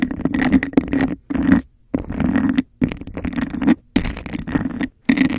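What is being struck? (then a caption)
Textured glass cup. Long acrylic nails rapidly scratch the sides and tap the base of a hollow, empty clear glass cup with a raised bubble texture held over the mic. Dense bursts of rough, grainy scraping with a hollow, ringing low-mid tone come in quick flurries separated by brief silences.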